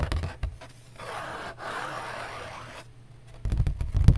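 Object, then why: Cardboard box or sheet. Cardboard is tapped, slow and fast, giving dull, low thuds that cluster at the start and grow louder and quicker near the end. Between them, a steady, softer scratchy rustle sits in the midrange.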